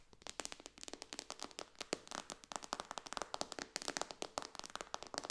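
Long dark-painted nails on both hands tap quickly on the glass touchscreen of a flat, solid white iPad lying on a pillow. About 35 sharp, bright clicks come in a fast, uneven patter, each dying away almost instantly with very little low end.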